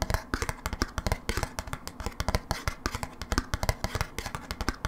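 A small, thin, hollow blue plastic snap-on lid from a cream cheese dip tub is held in the hands off the tub and tapped and scratched with long manicured nails. A rapid, uneven run of short, dry clicks with a hollow low thump lands under each tap, mixed with brief scratchy rasps. Each tap dies away almost instantly.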